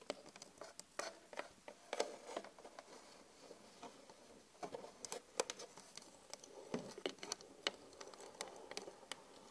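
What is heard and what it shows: Long acrylic nails tap rapidly across a flat glass vanity mirror, with the hands briefly moving to the mirror's edges. The result is a quiet, irregular patter of many sharp, dry clicks that die away almost instantly, with a bright, high edge and almost no low end.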